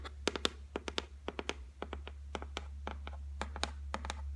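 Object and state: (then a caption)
Laminated shelf, solid board. Long nails tap rapidly on the flat top of a solid white laminated shelf board, making about two dozen short, dry clicks that stop almost at once. The clicks are bright and sharp, set over a steady low hum.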